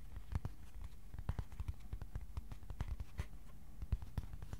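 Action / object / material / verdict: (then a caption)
tap / thin cardboard sheet / cardboard / none. A thin, flat white cardboard sheet about A4 size is held at an angle and tapped with the fingertips. It makes a quiet, irregular run of soft, dull taps, low and muffled, with no ring after each one. A faint scratchy rustle sits under the taps.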